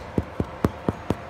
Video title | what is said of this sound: Sourdough bread recipe for beginners | Sounds pretty hollow, which is what you're looking for.